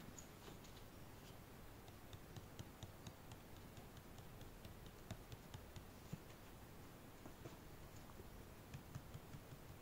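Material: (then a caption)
Cardboard. Yellow rubber-gloved fingertips tap and rub the front face of a medium-sized, hollow, glossy printed cardboard retail box for the Sound Devices MixPre-3, which holds the product and sits inside a larger shipping box. Quiet, dry, scattered ticks and soft scratchy rubbing die away almost instantly over a low, steady background.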